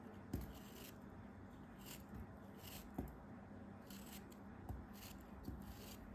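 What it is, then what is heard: Kinetic sand block being sliced. A solid, orange-brown molded block of kinetic sand held in the hand is cut into slices with a craft knife blade. Five soft, low, crunchy slicing strokes sound over a quiet, grainy hiss, each dying away quickly.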